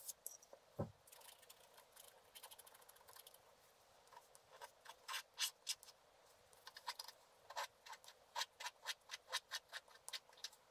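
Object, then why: Scratch art paper sheet with wooden stylus. A wooden stylus scratches and rubs across a black-coated scratch art card lying flat. Quiet, bright, dry scraping strokes come in short bursts, with a brief low thump near the start. They grow more rhythmic and closely spaced in the second half.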